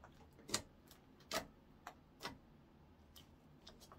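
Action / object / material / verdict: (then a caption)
tap / clear slime on a wooden counter / slime / none. Translucent orange clear slime is rolled and folded, then poked and pressed flat by fingertips on a wooden counter. Six short, bright, sticky clicks and pops come at uneven intervals, the first few loudest and the last ones fainter, each dying away almost at once against a quiet background.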